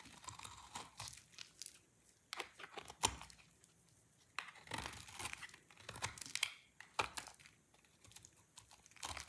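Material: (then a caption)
Soap. A solid green soap bar is carved into flakes and chunks with a utility knife blade. It gives dry, crisp scraping and crunching cuts with bright, high crackle and little low end. The bursts come in irregular clusters with quiet pauses between strokes.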